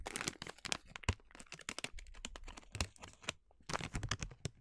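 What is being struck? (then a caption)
Plastic snack bag of sliced almonds. A filled yellow crinkly plastic bag of sliced blanched almonds (100 g) is squeezed, crinkled and scratched with long nails. Dense, sharp crackles and crinkles come in quick bursts, bright and hissy with dull low thumps beneath. The sound eases to a brief quieter stretch before a final flurry of crinkling.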